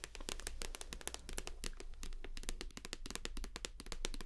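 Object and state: Plastic shower gel bottle.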